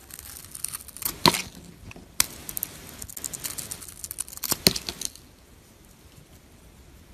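A metal blade held in fingers scrapes and shaves the surface of a solid white bar soap whose silver glitter coating is partly removed. Bright, crisp scratching and shaving strokes come in uneven bursts with a few sharper peaks, then drop to near quiet before one last sharp scrape at the end.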